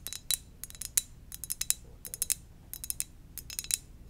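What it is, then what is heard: Ceramic mug. Gentle tapping on a ceramic donut-shaped mug gives a quick, irregular run of about twenty light, bright clicks. Each tap is high and glassy with almost no ring, and stands out against a quiet low hum.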